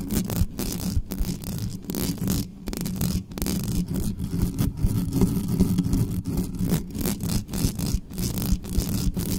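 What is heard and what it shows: Long manicured nails of both hands scratch fast across the mesh grille and body of a large, dark, hollow metal USB condenser desktop microphone on a stand, with no cover fitted. The result is a continuous, dense, low, rumbling scrape centered near 180 Hz. It is broken by brief gaps and short bursts of brighter crackle.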